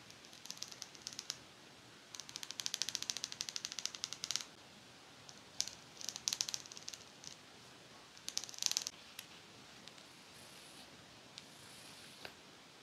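Long fake nails strum and scratch along the row of thin metal teeth on a pet comb with a teal and black plastic handle. The result is rapid, bright, ticking rattles with almost no low end, coming in short bursts separated by quiet pauses. Each burst is a fast run of tiny, high clicks, and the clip ends with a few sparse single ticks.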